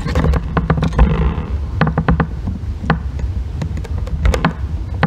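A solid green bar of soap resting on a white box is scratched and shaved with a thin metal tool held in the fingers. Quick, crisp scraping ticks and short rasps reach bright highs over a steady low hum around 70 Hz.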